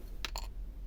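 A dried charm made of multi-layered paper glued with stick glue, less than 0.5 mm thick, is tapped twice. It gives two short, dry clicks that sound like wood, with little ring.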